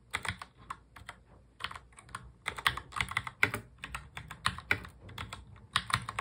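Both hands type fast on a full-size black mechanical keyboard with plastic keycaps, fingertips tapping the keys. The result is a quick, uneven stream of crisp, bright clacks with short, dry decay and little low end, some strokes landing louder than others.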